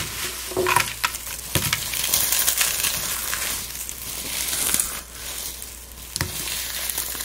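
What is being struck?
Dried rose petals and dried flowers.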